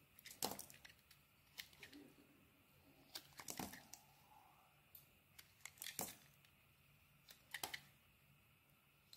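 A metal blade shaves and scrapes slices off a solid purple Nivea soap bar with a white core. The result is a series of sharp, bright scraping and crackling strokes separated by quiet gaps, with faint crumbly rustling in between.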